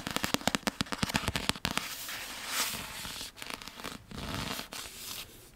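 Long nails tap rapidly on the paper cover of a Harry Potter and the Half-Blood Prince paperback, a solid paper book held upright, making a quick run of sharp, dry clicks. After about two seconds the taps give way to steady, bright scratching across the cover and page edges, broken by a few brief pauses and fading softer at the end.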